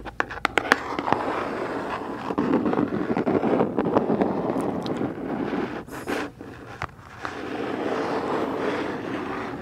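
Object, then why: Cardboard box. Long pointed nails tap and scratch the side and top of a medium, hollow black cardboard Boxycharm subscription box held upright near the mic. Sharp, clicky taps open the clip before giving way to a steady, dry scratching rasp. The scratching briefly drops off around six seconds, then resumes softer to the end.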